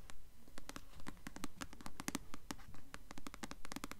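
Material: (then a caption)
Paper. The glossy paper cover of a solid paperback copy of the novel "Delirium," held upright, is scratched and tapped with long nails. Quick, fairly steady clicks and scratches, about two per second, have bright, crisp tips over a soft low rumble. Each sound dies away almost at once.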